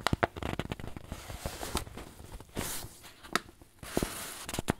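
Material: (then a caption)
Paper. A wrinkled white paper bag, apparently filled with flour, is pressed and crinkled with fingers and thumbs. Sharp, dry crackles and snaps stand out over a steady papery rustle, with brief bright hissy swells in between.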